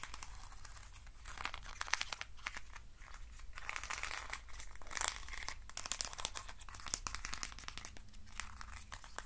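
Fingers scratch and rub the sides of a hand-sized hollow hexagonal box made of thin wooden sticks. The result is a dense, bright, crackling and crinkling scratch with quick dry ticks and brief louder swells, over a steady low hum.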